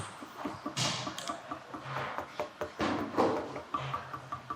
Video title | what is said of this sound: Shop Tour World's Strongest Concrete Ping Pong Tables | Listen to that. It's almost musical right there. That's a good tight mix